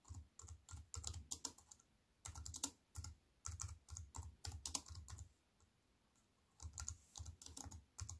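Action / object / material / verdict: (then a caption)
tap / plastic computer keyboard / plastic / none. Fingertips and long white-painted nails type on a compact wireless keyboard with black plastic keys and a grey metal-look frame, lying flat on a wooden table. Quick bursts of bright, clicky key taps, each with a soft low thump, come in short runs separated by brief pauses and a longer quiet gap near the end before typing resumes.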